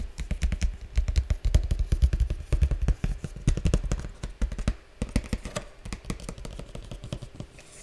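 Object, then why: Printed cardboard toy box. Fingertips rapidly tap and scratch along the narrow edge of a large, flat printed cardboard slime kit box held on its side. The result is a dense, irregular run of short, dry taps with a deep, thumpy low end and scratchy clicks, dying away instantly after each hit. The tapping is strongest in the first half and grows softer and sparser toward the end.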